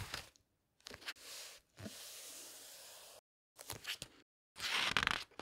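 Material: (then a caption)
Paper. Hands with long red nails quickly flip the glossy paper pages of a large, thick hardcover book lying open on a table, then smooth them flat. Crisp, bright papery rustles and crackles come in short bursts, broken by brief silences, with longer steady hissing strokes as the pages are pressed and slid flat. The loudest, brightest crackling flip comes at the end.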